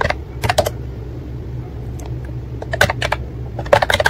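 Fingertips type on the round keycaps of a white and pink plastic ACTTO wireless keyboard. Short, crisp clicking taps come in quick bursts near the start and again toward the end, separated by a quieter pause. A steady low hum sits underneath throughout.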